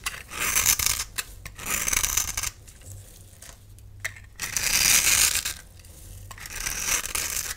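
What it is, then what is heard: Bar of soap being scraped. A hand-sized, solid bright green bar of soap with an embossed face is held in one hand and scraped into curls and cubes with a metal utility knife blade. Bursts of dry, bright, crisp scraping and shaving rise and fall with the strokes, separated by quieter gaps.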